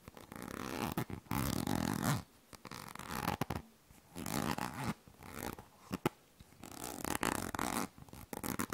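A yellow-green plastic cosmetic cream squeeze tube is held close to the mic while long nails scratch and tap its surface. Bursts of dry, rasping scratching alternate with short quiet gaps, broken by a few sharp, bright taps.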